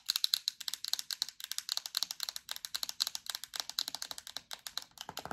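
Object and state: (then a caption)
Plastic hand cream tube. Long acrylic nails tap quickly across a yellow plastic hand cream tube with a black cap, giving a fast run of about forty crisp, high, clicky taps. Each tap is dry and dies off at once, with a slightly fuller burst near the end.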